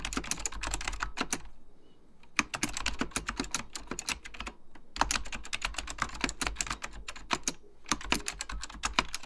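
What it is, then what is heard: Plastic mechanical computer keyboard. Fingertips type continuously on a beige plastic full-size Apple Extended Keyboard II, pressing its hollow plastic keycaps over mechanical switches. Rapid, sharp, bright clacks come in bursts, with brief pauses near 2 and 4.5 seconds. A steady low hum runs underneath throughout.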